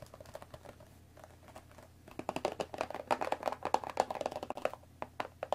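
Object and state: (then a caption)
Cardboard tea box tapped with nails. Long nails tap rapidly on the top of a hollow rectangular cardboard Earl Grey tea bag box holding tea bags, while hands grip its sides. Soft, sparse clicks in the first two seconds give way to a denser, louder run of short, dry taps with a hollow tone around 750 Hz. Each tap dies away almost instantly.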